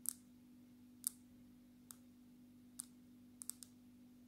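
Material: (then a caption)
Glass, plastic. Long natural fingernails tap the glass surface of a smartphone held flat in a dark red plastic case. The taps are short, bright, sparse clicks, some in quick clusters, over a steady low hum.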